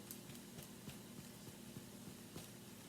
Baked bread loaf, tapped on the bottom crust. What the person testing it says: tap the bottom of it and if it sounds hollow like that you can pretty much be sure that it's done